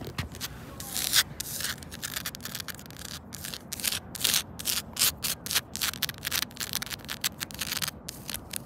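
Long pointed nails scratch fast across grey solid rubber-granule playground safety tiles, over the seam between them. The strokes come as a rapid run of short, bright, hissy scrapes with very little low end and almost no ring after each stroke.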